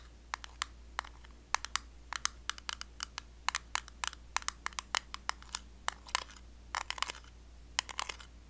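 The lid of a small, round, blue metal Nivea Creme tin, kept closed, is tapped with long blue acrylic nails. The result is a quick, irregular run of dozens of sharp, bright clicks, each dying away instantly, over a faint steady low hum.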